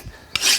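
A file is drawn once across the soft, unhardened side of a steel cold chisel, biting in with little pressure. It gives a short, bright, high rasp with a slightly woody tone, which shows the steel there is soft.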